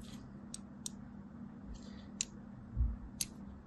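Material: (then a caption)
Soap. A thin scissor blade scratches diagonal lines into a solid mint-and-white striped soap bar held in a hand with long pink nails. Four short, bright scraping clicks sound apart over a quiet, steady low hum, with a soft low thump near the end.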